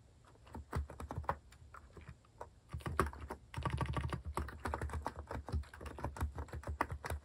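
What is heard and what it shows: Fingertips type fast and continuously on a compact white plastic mechanical keyboard with cat keycaps. Many short, dull clacks with a low thump run in bursts, sparse and uneven at first, then dense and steady from about 3.5 seconds on, each keystroke dying away almost at once.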